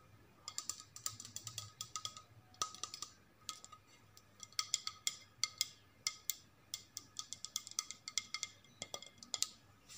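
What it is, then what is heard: Ceramic plate tapped with nails. A flat white ceramic plate with blue stripes is held upright and tapped and scratched with long nails. The sound is a quick, uneven run of sharp, bright clicks and ticks with brief scratchy rasps between them. Each tap stops almost at once, leaving a faint, steady ring.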